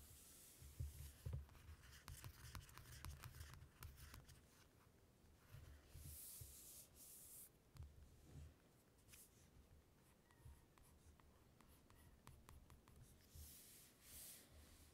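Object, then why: Glossy paper magazine cover. Fingertips rub and scratch across the glossy paper cover of a closed ELLE magazine resting on red fabric. The result is a quiet, irregular run of dry, papery scratches and sharp little ticks, with soft low thuds underneath and brighter hissy swipes now and then.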